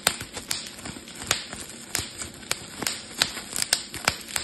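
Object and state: Plastic bubble wrap being popped.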